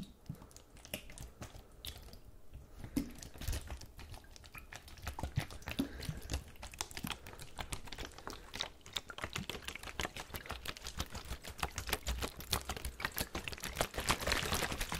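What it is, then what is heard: Partly filled plastic water bottle. A large clear plastic water bottle with a blue cap and label, partly filled with water, is held horizontally in both gloved hands and shaken so the liquid sloshes inside. The result is a quick, irregular run of sharp crackly clicks and taps over a low wash of sloshing, staying steady and growing slightly brighter and denser toward the end.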